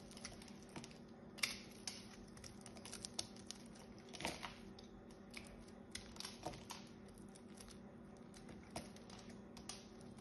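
A small blade cuts and scrapes shavings off the carved surface of a solid green bar of soap held in the hand. Quiet, crisp ticks and brief bright scraping strokes come at an irregular pace over a faint, steady low hum.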